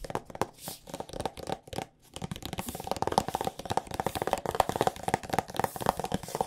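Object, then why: Soft plastic squeeze tube. A partly full soft plastic squeeze tube of body lotion is tapped rapidly with long painted nails. The result is quick, dry, irregular clicks with a hollow plastic tone, with a brief pause near the two-second mark before the tapping picks up again.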